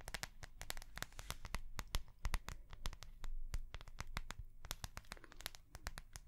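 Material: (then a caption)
Soft plastic. Long nails tap and scratch the front of a small notebook with a clear, flexible plastic cover and metal binder rings. A quick, irregular run of sharp, crinkly clicks and scrapes rings bright over a steady low rumble, each tap dying away almost at once.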